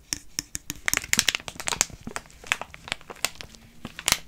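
A filled soft plastic pouch of wet wipes is held in both hands while fingers squeeze and crinkle it and nails scratch the plastic film. Quick, bright crinkles and sharp scratchy clicks come in a rapid, uneven stream, with very little low-end body and almost no ring after each one.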